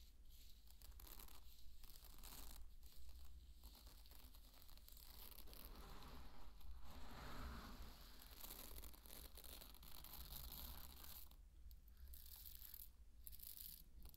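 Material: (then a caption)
Barley grain. A handful of dry pearl barley is poured from the palm, then fingers rake into the bed of grain. The result is a continuous, quiet, crinkly rustle of tumbling kernels with soft crunches and bright grainy hiss over a steady low rumble.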